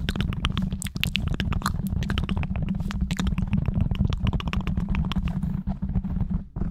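Fingertips of both hands rapidly scratch and tap on the top and sides of a black foam microphone windscreen. The result is a dense, nonstop run of muffled thumps and rustling scrapes, heavy in the low end, with brief bright crackles over it.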